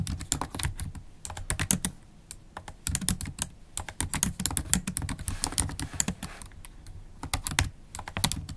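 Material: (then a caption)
Plastic. Long holographic acrylic nails type fast on a MacBook Pro keyboard with black plastic keycaps in an aluminium laptop body. The clicks are dense and bright, with a low thud under each key, and come in quick bursts separated by brief pauses.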